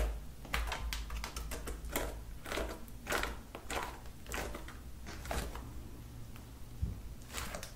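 Long acrylic nails tap rapidly on a flat lilac slime with beads spread on a table, like typing. Quick, uneven clicks and soft sticky pops come in a loose stream over a steady low hum, each tap short and bright with almost no ring.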